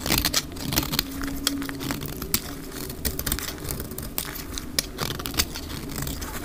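A solid, dry green bar of soap held in the hand is shaved with a black utility knife blade, the flakes piling up on a cloth, sped up to double speed. Quick, crisp scraping and crackling strokes come in a dense, bright stream with sharp clicks. A faint low rumble sits underneath.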